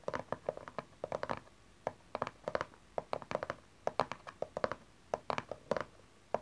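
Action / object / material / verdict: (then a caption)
tap / small cardboard card box / cardboard / none. Long nails tap the side panel of a small, dark cardboard tarot card deck box, then fingertips and nails tap its cover. The result is a quick, irregular run of dry, hollow clicks and taps centered around a mid pitch, each dying away almost instantly, with little bass or brightness.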